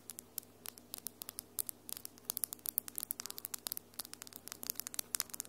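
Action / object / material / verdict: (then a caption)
tap / long acrylic fingernails / acrylic / none. Long almond-shaped acrylic nails with glitter polish, solid, are tapped and scratched against each other fast. About 38 sharp, bright clicks snap out over a faint low hum and hiss, growing denser and louder after the first two seconds. Each click dies away almost instantly.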